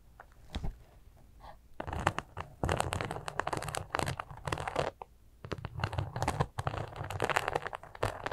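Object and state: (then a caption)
Glitter fabric pouch scratched. Long acrylic nails scratch and grip a small, flat, soft glitter sequin fabric zipper pouch that appears empty. Dense bursts of crunchy, crinkling scratches come in quick clusters with brief quiet gaps, most of the energy sitting low and muffled.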